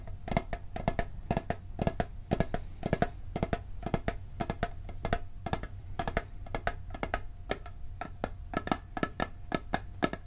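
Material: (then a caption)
Steel. A round, hollow blue steel cookie tin is tapped on its lid and side with fingertips and nails, in a steady run of quick, short taps. Each tap gives a brief metallic tick over a low hollow body, with a faint steady ring in the midrange. No verdict is given.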